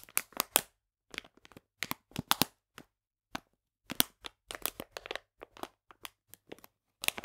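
Fingernails scratch and crinkle the plastic of a full bag of polenta held on its side. Short, bright bursts of crackly plastic crinkling come in uneven clusters, separated by brief silences. Each crackle stops sharply with almost no ring.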